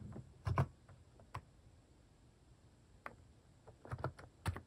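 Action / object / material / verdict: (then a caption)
tap / plastic mechanical keyboard / plastic / none. Fingertips type on a white-case plastic mechanical keyboard fitted with pastel plastic cat-shaped keycaps, producing short, soft, low-toned clacks in irregular clusters with quiet pauses between bursts.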